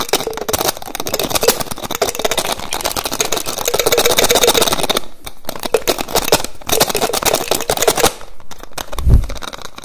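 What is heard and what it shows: Fingertips and nails rapidly tap and twist the white plastic cap of a small, clear, hollow, mostly empty plastic bottle. The result is a dense stream of crisp clicks and scratchy rattles with bright, hissy edges. Short pauses come near the five- and eight-second marks, and a low thump lands near the end.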